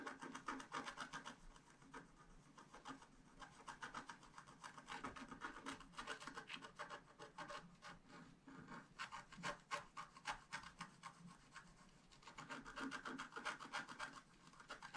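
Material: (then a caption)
Coated paper. A wooden stylus scratches the coating of a flat scratch art paper sheet held in one hand, working in short strokes. The result is a quiet, dry, rasping scratch that comes in rapid, uneven bursts, centered in the midrange with a bright, hissy edge and almost no low end.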